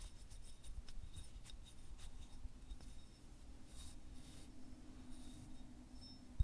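Fingertips and short nails scratch and tap along the ridged surface of a small, solid, white translucent selenite (gypsum) wand, about hand length, held in both hands with rings worn. Quiet, soft scratching and brief bright ticks sit over a steady low hum and rumble, ending with one sharper tap.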